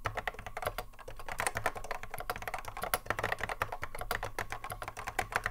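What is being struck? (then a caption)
Plastic mechanical keyboard. A cream Apple M0110A keyboard with a hollow plastic case and Alps SKCC mechanical switches, sitting on a wooden desk, is touch-typed continuously by the fingertips of both hands. A rapid, steady stream of sharp, short clacks is heard, each with a bright click over a hollow low thump. The keystrokes come in uneven bursts without pause and die away almost instantly.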